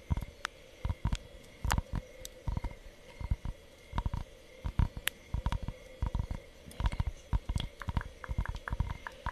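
Long fingernails tap and scratch the flat surface of a thin, solid, lightweight rectangular cork sheet held in both hands. The result is a steady series of short, dull, low thuds with no ring, broken up by faint scratchy brushes.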